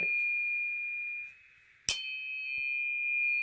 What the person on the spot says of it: it's not a real loud ping it does resonate and a lot of multi-prong flash hiders will do that because they act like a tuning fork